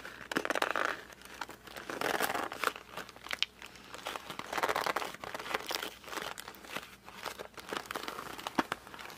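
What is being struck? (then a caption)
Cardboard puzzle box. A closed cardboard puzzle box is gripped at its edges, squeezed and flexed with the fingertips, and turned over and back. This produces bursts of dry crinkling and crunching with sharp clicks and small creaks in between. The sound is close and quiet, mostly midrange with some bright edge and almost no low end.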